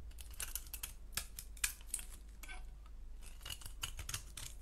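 A solid orange striped soap bar, held in the hand, is carved with a blade into curls. Quiet, bright, crisp scraping and crackling strokes follow one another in quick succession over a steady low hum, each stroke dying away almost at once.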